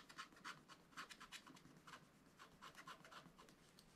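A wooden stylus scratches away the black wax coating on a zebra picture printed on a thin, solid scratch-art card page in a spiral-bound book lying flat on a table, while the other hand holds the page. The result is a quiet, quick series of short, dry, bright scratching strokes with a raspy hiss centered in the upper mids and almost no low end.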